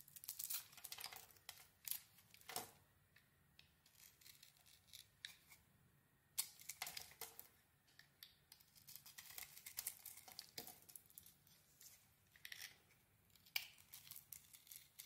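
A metal blade scrapes and carves the surface of a hand-sized, solid gold-glitter bar soap with a cream interior. Quiet, bright, crisp scraping and shaving strokes come in irregular bursts, with short sharp cuts and brief pauses between them.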